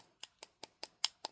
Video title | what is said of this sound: Blueberry Pie using Mini verse Resin | you can hear that it's hardened